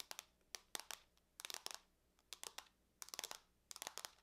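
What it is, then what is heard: Aluminum laptop lid tapped with nails. Long nails tap and scratch across the surface of a closed silver aluminum laptop lid. The result is quiet, bright, dry clicking and scratching in irregular bursts, each with almost no ring and no low end.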